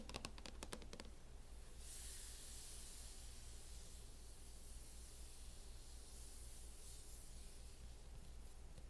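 Long acrylic nails tap on a closed laptop in a mint matte plastic hard-shell case, giving a quick run of short, dry clicks in the first second. The clicks then stop, leaving a steady bright hiss over a constant low hum for the rest of the clip.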